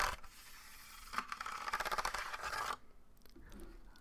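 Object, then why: Wooden slatted board. Fingertips and nails scratch and scrape along the thin parallel slats of a medium-sized wooden slatted board, a trivet- or rack-like board that is not hollow, held up beside a microphone. A soft scrape opens, then a louder, bright rasping passage with a ringing tone near 1 kHz runs until about 2.7 seconds and cuts off. Faint, quieter scratches follow.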